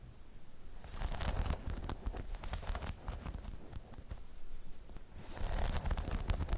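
Long chrome nails scratch and tap the spikes of a hollow spiky rubber half-dome balance pod. A low, muffled rumble runs throughout, with dense bursts of bright scratchy crackle and quick taps that swell near the start and again toward the end.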